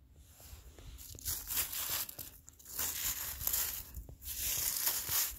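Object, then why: Icy granular snow surface. A black-gloved hand scratches and drags through melting, crystalline snow on the ground that has turned icy and granular. Bright, gritty crunching and scraping comes in uneven bursts, mostly in the high range with little low end.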